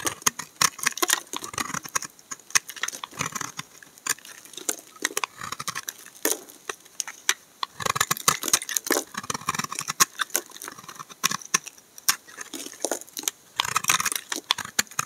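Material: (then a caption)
Soap. A utility knife blade scrapes shavings off the surface of a solid, dark brown, tar-like bar of laundry soap held in the hand. The clip is a dense run of short, crisp scraping and cutting strokes, bright and mostly high-pitched, with almost no low end and a dry finish that dies away at once.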